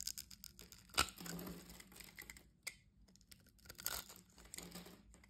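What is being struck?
Bar of soap scraped with a metal blade.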